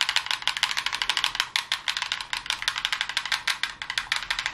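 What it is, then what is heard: Plastic game controller. A hollow plastic gamepad with blue grips and an open battery compartment is held in both hands and tapped fast with long glittery nails. About 36 dry, bright plastic clicks come in quick, uneven bursts, each dying away almost at once with no low end.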